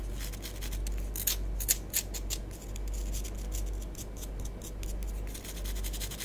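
Long nails scratch a small, solid orange bath bomb with a green stripe, making soft, bright, irregular scraping strokes. The scratches sit over a steady low hum, with a few slightly louder strokes in the first two seconds.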